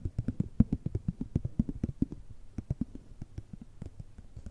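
A small, flat, cream-filled plastic and foil cosmetic sample sachet, held between the fingers, is tapped and scratched with long red nails. The result is a quick, uneven run of soft, dull, low taps that die away almost instantly, with faint scratchy rustle between them and almost no bright edge.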